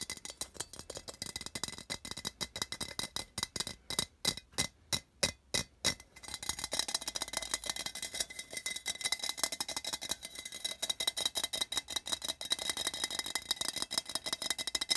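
Fingernails rapidly tap and scratch the side wall of a small, hollow, printed metal tin held in both hands. A fast run of sharp, bright clicks slows into a few spaced, louder taps around the middle, then gives way to dense, steady scratching with a tinny high ring.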